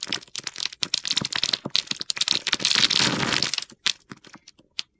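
A utility knife blade shaves the edges of a solid green Palmolive bar of soap held in the hand, sending dry crumbs falling. Bright, crisp crackling scrapes come in quick, irregular bursts, building to a dense gritty crunch before thinning out into a few scattered sharp clicks.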